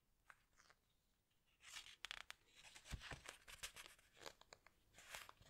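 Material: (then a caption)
Glossy paper. Fingertips rub, squeeze and turn the glossy paper pages of a large open hardcover book. Soft, bright crinkling and papery rustles come in quick bursts, with a few sharper crackles and swishes as pages turn, all at a quiet level.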